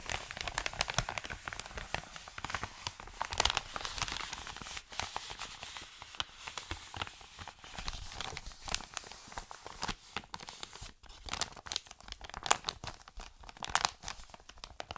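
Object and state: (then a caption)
Paper mailer envelope. An empty, flat and hollow Amazon recyclable kraft-paper padded mailer, held in both hands, is crinkled and squeezed with fingertips and short nails. It makes a steady stream of dry, bright crackles and crinkles with little low end. Sharper, louder snaps stand out now and then.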